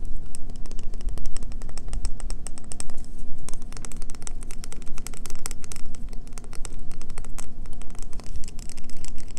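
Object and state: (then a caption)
Bar of soap. Long fingernails tap and scratch quickly on a solid green bar of soap held in the hands, making a dense stream of sharp, dry clicks with bright edges. Scratchy scraping runs over a steady low hum throughout.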